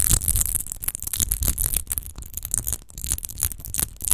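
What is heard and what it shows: Long nails scratch fast across the textured surface of a large, hollow, clear glass rose-shaped wine bottle with a rose-textured base, which appears empty. The result is a rapid string of bright, rasping scratches with a crisp high hiss and low, hollow thumping underneath.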